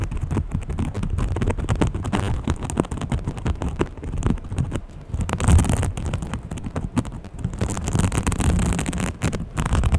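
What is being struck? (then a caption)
Small textured fabric pouch. A small green textured fabric pouch is scratched and tapped quickly with long painted fingernails. The result is a dense, continuous run of soft, muffled scratching and tapping, mostly low and dull with little brightness.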